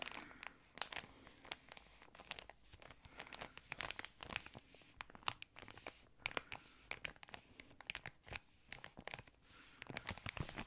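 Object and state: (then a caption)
Thin plastic wrapper crinkling. A yellow, patterned, thin plastic ice cream wrapper is crinkled and squeezed with fingers. For about eleven seconds there is a quiet, continuous run of sharp, bright crackles and crinkles, with fast-decaying snaps scattered over a soft rustling bed and little low end.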